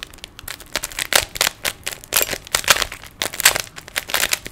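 A small, hand-sized solid plastic 3x3 Rubik's cube is held in both hands while fingertips twist its layers. A rapid, irregular run of dry, bright clicks and rattles is heard, each one short with almost no low end. The turning sounds crisp and crackly rather than resonant.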